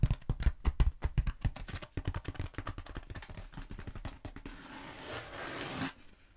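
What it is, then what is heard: Foam roller. A long black textured foam roller, held across and then upright, is tapped and scratched with long acrylic nails. Rapid, uneven, dull taps come first, then a steady hissing scrape that stops abruptly near the end.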